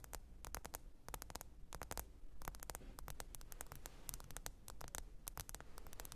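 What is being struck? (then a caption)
Smartphone glass screen. Long pointed nails tap and scratch the glass screen of a small, thin, black smartphone lying flat and screen-up on faux fur. Quick, sharp, bright clicks come in irregular clusters over a soft, low, steady hum and faint static hiss. Each tap dies away almost instantly.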